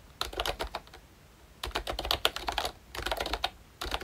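Fingertips type on the round keycaps of a pink plastic ROYCHE Disney Mickey Mouse retro membrane keyboard with a hollow body. Quick bursts of short, dry, clacky taps arrive in four clusters separated by brief quiet pauses. The taps are bright and plasticky, with almost no ring after each one.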